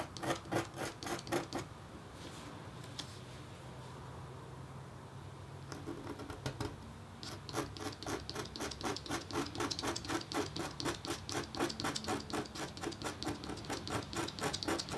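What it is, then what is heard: Scratch-art board being engraved. A red-handled metal engraving stylus scratches hatching lines into a flat, thin, black-coated copper-foil scratch-art board resting under white paper. Quick, raspy, bright strokes repeat at about four per second in a short burst, then give way to a quiet stretch with a few faint scrapes. The scratching resumes and continues steadily to the end.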